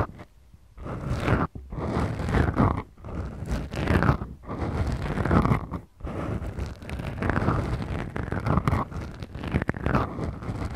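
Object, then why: Foam microphone windscreens. Long glittery manicured nails of both hands scratch slowly and deeply on two small black foam windscreens fitted over the mic capsules of a Tascam DR-40X recorder. The result is a dense, muffled, bass-heavy scraping and crunching in sustained strokes, broken by a few brief pauses.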